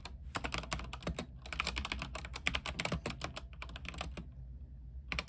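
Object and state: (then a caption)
Mechanical keyboard typing. Both hands type quickly with their fingertips on the white plastic keycaps of a backlit mechanical keyboard with an aluminium frame. The result is a dense run of short, bright, clacky key strikes over a steady low hum. The typing pauses briefly near the end, then picks back up.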